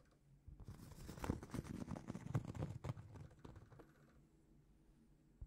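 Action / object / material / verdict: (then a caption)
scrape / round cork trivet / cork / none. A large, flat, solid round cork trivet held in both hands is tapped and scratched with long painted fingernails. The result is a quiet, irregular patter of dull, low thuds mixed with soft scratching, each hit dying away almost at once. The sound fades to near silence before one last short tap at the end.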